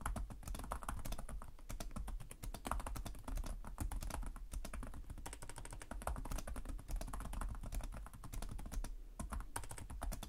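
Fingertips with short nails type continuously on the plastic chiclet keyboard of a black laptop resting on a desk. The result is a dense, steady stream of rapid key taps, dry and short-ringing, with a low thump under faint bright clicks.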